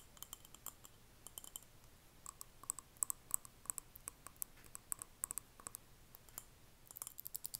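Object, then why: Small glass jar candle filled with wax. A small glass jar candle filled with solid red wax, with a paper label, is held in both hands and turned around while long manicured fingernails tap and scratch its glass sides and bottom. Quiet, sharp, bright clicks with almost no ring come in scattered bursts over faint scratching.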